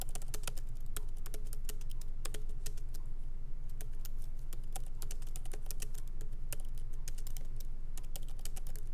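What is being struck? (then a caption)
Plastic laptop keys in a metal body. Both hands type lightly with their fingertips on the plastic keycaps of a MacBook Pro laptop with an aluminum body, resting on a wooden desk. A steady stream of quick, bright, short clicks, irregularly spaced, plays over a constant low hum.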